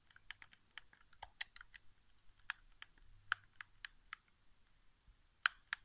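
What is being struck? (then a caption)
Plastic game controller. Fingertips press and tap the buttons of a white, hollow plastic PS4 game controller resting on carpet. About fifteen short, dry, irregularly spaced clicks sound over quiet background hiss, each bright and sharp around 1.5 kHz and dying away almost instantly.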